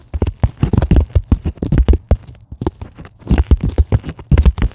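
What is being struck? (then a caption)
Polyethylene foam packing sheet. Long acrylic nails rapidly tap and scratch a white polyethylene packing foam sheet lying on a table. The result is a quick run of short, dull, low thuds with soft scratchy crackle and almost no ring. The tapping briefly thins out midway before picking back up.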